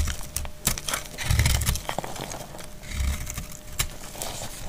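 A palm-sized bar of translucent amber glycerin soap, solid, dry and frozen, is held in the hand and shaved with a metal utility blade, cutting off crumbly flakes. Dense, crackly scraping and crisp cutting sounds carry a low rumble, with sharp bright ticks as the blade bites in. The flakes crumble away in short, rough strokes.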